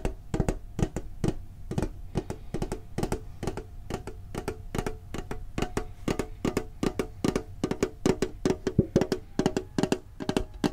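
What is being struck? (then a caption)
Small thin-walled metal tin with lid. A small, hollow, green printed metal Pokemon card tin with a lid is tapped with fingertips on its lid and sides. A quick, uneven run of short, dull knocks follows, each with a faint hollow metallic ring in the low-mid range that dies away almost at once.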